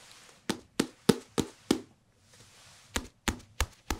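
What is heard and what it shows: A small, thick hardcover paper book with a glossy photo cover, solid and held up in both hands, is tapped with the fingertips on the cover and the spine side. Nine short, dull taps with almost no ring are heard: a run of five, a brief pause, then four more, each with a soft low-mid knock and a brief bright edge.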